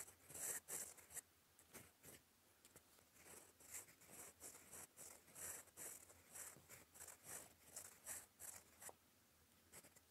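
A gold fountain pen nib writes in black ink on a flat sheet of lined cream paper, scratching across it in cursive strokes. A steady run of short, bright, dry scratches fades in and out with each stroke, louder at first, then settling into an uneven rhythm of quieter strokes.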